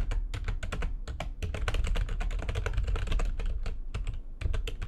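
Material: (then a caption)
Plastic. Fingertips with long nails type fast on the keys of a full-size, low-profile, backlit plastic computer keyboard resting on a desk. The result is a dense, steady stream of quick, dry key clicks with short bright transients over a low, thumpy rumble, each tap dying away almost instantly.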